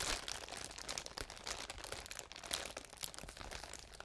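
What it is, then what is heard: Plastic bubble wrap being scratched. A large sheet of clear plastic bubble wrap is scratched and rubbed with fingernails close to the microphones. It makes a steady stream of bright, crisp crinkling and crackling with many quick, sharp snaps and little low end.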